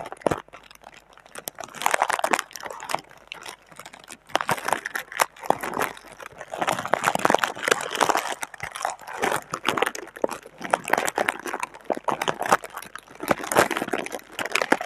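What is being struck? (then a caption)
Thin plastic air-pillow packaging film. Fingertips with long red nails press, scratch and crinkle a deflated clear plastic air-pillow packaging film with green print, lying flat on a table with a microphone resting on the plastic. The result is dense, continuous crinkling and crunching, made of rapid dry clicks that swell and fade in bursts. The sound is centered in the mids, with a bright edge and almost no low end.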